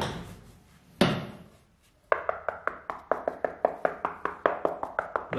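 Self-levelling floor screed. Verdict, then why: Hollow. A cracked self-levelling floor screed is tapped where the cracks are most visible: one strong knock, a pause, then a quick run of short, dry taps, 19 in all. Each tap has a mid-pitched knock centred near 600 Hz with almost no ring. The floor sounds slightly hollow there, and the cracking is blamed on the screed itself or on missing expansion joints.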